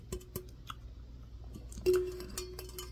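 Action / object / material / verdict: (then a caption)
tap / hollow plastic tumbler with lid / plastic / none. An orange plastic Wildwood New Jersey tumbler, hollow with a handle and a clear lid, is held in the hands and tapped and scratched with the fingertips and nails. Soft, scattered clicks and light scratching give way to a louder tap near the end that leaves a brief, hollow, mid-pitched ring.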